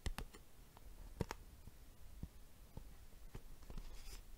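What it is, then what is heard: Plastic box tapped. A plastic box is tapped with the fingers, giving quiet, clicky, tick-like taps at an irregular pace. Each tap is short and dry with almost no ring, its weight mostly low with brief bright clicks on top.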